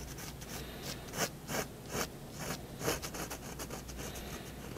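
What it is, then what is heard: Pen scratching on paper. A 0.1 mm fineliner pen tip scratches across a large white sheet of drawing paper lying flat on a wooden desk, drawing the outline of a cat. Soft, continuous, dry scratching strokes swell into brighter, louder scrapes as the pen sweeps, over a faint steady low hum.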